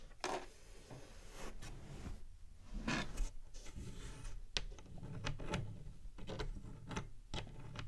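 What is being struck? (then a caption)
Plastic game console casing. Long nails tap on the panel and front edge of a large, hollow, white plastic PlayStation 5 console with a black middle section. A series of sharp, dry clicks and light scratchy rubs sounds with bright tops and very short decay, over a steady low hum.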